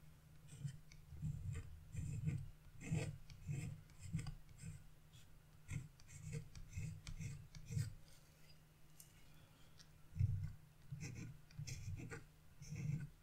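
A carving chisel, held in a hand with blue nails, scrapes across a black wax-coated scratch-art paper sheet, scratching away the coating to fill in colored areas. Quiet, repeated short scraping strokes come in uneven bursts, with a dull low rub under faint bright scratchy edges.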